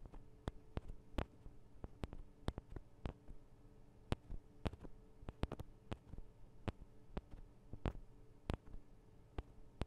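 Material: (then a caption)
Metal and plastic. Long acrylic nails tap and scratch on the sides of a Tascam DR-40 recorder's two small, hollow microphone capsules with metal and plastic housings. Sharp, brief clicking taps come at an irregular pace over a faint scratchy rustle and a low, steady hum.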